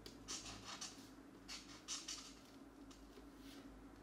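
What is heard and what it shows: A felt-tip marker rubs and scratches across a paper mandala page in a coloring book lying flat, while a hand holds the page still. Repeated coloring strokes come through as quiet, bright, scratchy bursts over a faint low steady hum.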